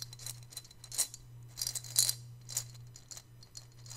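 A hand-sized, hollow, white glazed ceramic piggy bank holding coins is held in both hands and shaken and tilted so the coins rattle inside. Bright, short metallic clinks and jingles come in irregular bursts, with the loudest around the middle of the clip, over a steady low hum.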